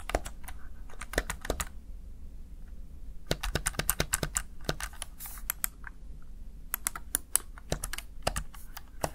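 Keys on a small backlit plastic Razer Tartarus Chroma gaming keypad are pressed with fingertips and nails, producing bursts of quick, sharp plastic clicks. The taps are dry and bright with almost no ring, over a steady low background hum, with a brief lull in the typing after about two seconds before it picks up again.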